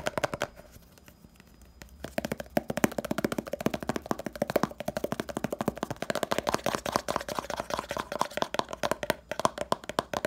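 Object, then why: Small plastic jar with lid. A small round red hair pomade jar (70 g), likely plastic, is held in both hands while fingertips and nails tap rapidly on its lid. After a quieter, sparse start, dozens of quick, dry, hollow clicks follow in a dense, uneven stream, each dying away almost instantly.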